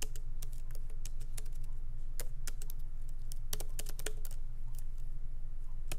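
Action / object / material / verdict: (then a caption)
tap / laptop keyboard with plastic keycaps / plastic / none. Fingertips of both hands tap lightly on a MacBook Pro laptop keyboard with black plastic keycaps in an aluminum body, resting on a wooden desk. Quick, irregular, crisp clicks with bright tops rise over a steady low hum.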